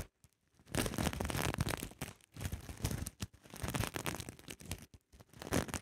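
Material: Sequins.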